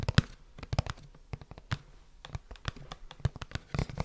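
A small, hollow, printed red-and-white cardboard retail box that appears to contain a product is held close up and tapped and scratched with fingertips and nails. About twenty quick, dry taps with a low, hollow thud and no ring are heard, mixed with soft papery scratching between them.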